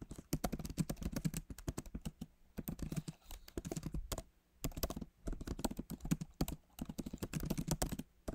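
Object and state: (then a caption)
Laptop keyboard, typing. Fingertips of both hands type on the backlit Magic Keyboard of a MacBook Pro, with plastic keys set in a solid aluminum body. Bursts of rapid, short, dull key taps carry mostly low-pitched body with little brightness. Brief pauses fall between the runs of typing.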